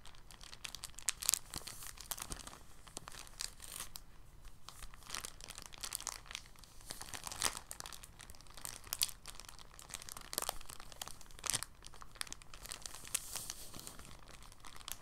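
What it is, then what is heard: Plastic bag crumpled. An empty, thin, clear polyethylene bag is held in both hands and crumpled with the fingers and palms. It makes a steady run of soft, dense crinkles with crisp, bright snaps, some louder crackles standing out from a quiet rustle throughout.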